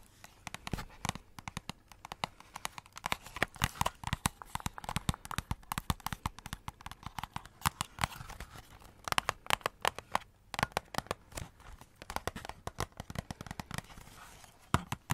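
Long nails scratch and tap close to the mic on a hollow cardboard Christmas cracker wrapped in glitter paper and silver foil, with purple glitter ends and a silver foil band. A steady stream of quick, dry clicks and crinkly, crackling scratches carries a papery midrange centered near 1 kHz plus bright edges. Each tap dies away instantly with no ring.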